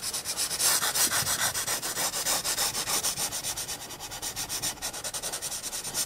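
A pencil rubs back and forth on a paper sketchbook page, shading the lower counter area of a drawing. Quick, fairly steady strokes make a soft, bright scratching hiss that pulses with each pass and has almost no low end.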